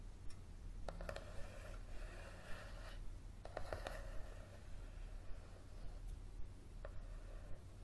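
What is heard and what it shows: Fingernails tap and scratch the coated cover of a yellow softcover paperback book lying flat on a table. Quiet, sharp clicks and soft scraping strokes come in irregular bursts over a steady low hum.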